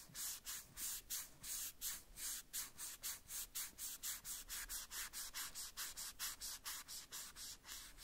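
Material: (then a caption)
Plastic. A white cloth strip held between the fingers wipes and rubs the small hollow red plastic boot of a Woody doll in a run of about 27 quick back-and-forth strokes. Each stroke makes a bright, airy, hissing swish with almost no low end, and the strokes follow each other closely at a roughly steady rhythm.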